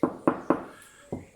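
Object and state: Metal car body panel.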